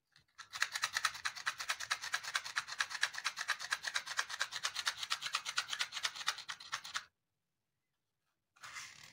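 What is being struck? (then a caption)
Cardboard matchbox. A small white cardboard matchbox, held in one hand and probably holding matches, is rubbed or shaken with the fingertips, producing a fast, steady train of bright, dry scratching strokes. The strokes run for about seven seconds, stop into silence, then return briefly and more softly at the end.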